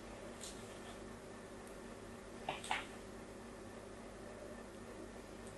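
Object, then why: Bar of soap. A thin blade scratches fine diagonal lines into the surface of a solid pink bar of soap held in a hand with green-painted nails. Two short, crisp scraping sounds stand out near the middle of the clip. They sit over a steady low hum and faint background hiss.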